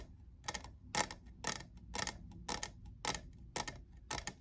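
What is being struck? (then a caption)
Plastic tumbler. A fingernail taps the frosted logo area of a hollow, lavender, diamond-textured plastic cold cup. It makes eight short, bright, clicky taps in a steady rhythm about half a second apart. Each tap stops almost at once, with a faint low rumble underneath.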